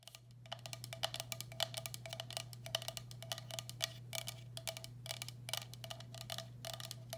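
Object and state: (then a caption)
Ceramic bowl tapped with fingernails. Long black acrylic nails rapidly tap and scratch the base and sides of a medium, hollow, empty turquoise speckled glazed ceramic bowl held upside down. The result is a dense run of short, bright, dry clicks with a faint hollow ring, over a steady low hum.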